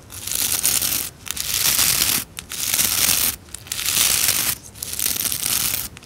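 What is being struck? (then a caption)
Plastic scrub brush with nylon bristles. Long nails scratch and flick along the rows of stiff nylon bristles on a white plastic scrub brush. They make bright, dry, crackly rasping in sustained bursts separated by short pauses. The sound is almost entirely high-pitched, with little low end.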